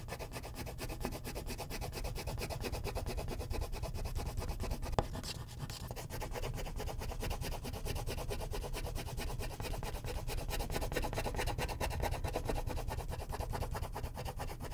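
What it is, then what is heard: Wax crayon shading on a paper sheet. A purple wax crayon is shaded in vigorous strokes across a thin white paper sheet resting on a clipboard. Quick, continuous rubbing and scratching strokes run throughout, with a low, papery body and a brief sharper tap near the five-second mark.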